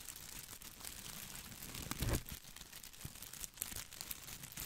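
Fingertips and nails scratch the small plastic leaves of an artificial boxwood ball close to the mic, making a steady crinkly, rustling crackle with bright, papery highs. The scratching swells briefly into a louder, fuller rustle near the middle before settling back to a soft, continuous crackle.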